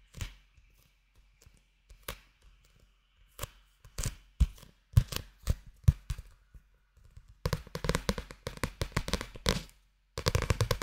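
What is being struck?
Paperback book, paper.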